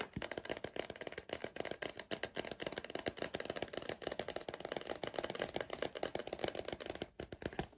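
A hollow Pringles cardboard crisp tube is held in one hand while the fingertips of the other hand tap its printed side throughout. The taps come in rapid, uneven flurries of short, dry, hollow knocks with a mid-range body and almost no ring. There is a brief pause near the end before the tapping resumes.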